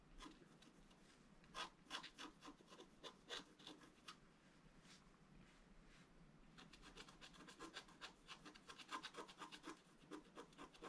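A thin wooden stylus, held in the right hand, scratches lines into a flat black-coated scratch art card about A4 size, a solid sheet lying on a table while the left hand holds it still. Quiet, dry, bright scratching strokes come in irregular bursts. They are sparse at first, then pause and return as a denser run of quick strokes.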